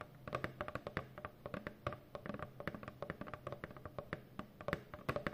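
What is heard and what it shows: Long nails tap rapidly across the front panel of a hollow brown corrugated cardboard Amazon box. The result is a quick, uneven run of short, dry clicks, each with a soft hollow low thump that dies away almost instantly.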